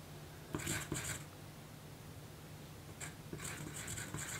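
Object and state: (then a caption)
Pencil writing on a paper note card. A graphite pencil writes on a small, thin pink paper note card resting on a table, making bright, dry scratching strokes across the paper. The strokes come in two clusters separated by a quiet pause, over a faint low hum.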